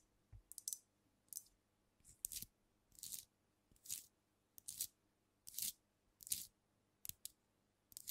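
Long nails tap rapidly on a filled glass cognac bottle held close to the microphone, striking the glass body and neck and moving toward the capped neck by the end. The taps come in quick, uneven clusters of bright, crisp clicks, almost all high-frequency, with very little low end. Each tap dies away almost at once, with no lingering ring, at a soft overall level.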